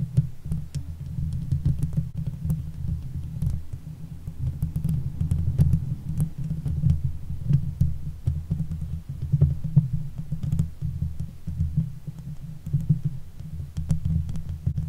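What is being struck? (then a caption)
Steel mesh microphone grille. Long nail tips scratch the hollow steel mesh grille of a silver Blue Yeti microphone. The result is a steady, deep, muffled rumbling and throbbing almost entirely in the low end, dotted with faint, short, bright ticks from the nails catching the mesh.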